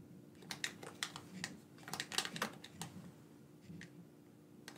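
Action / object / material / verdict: tap / plastic game controller / plastic / none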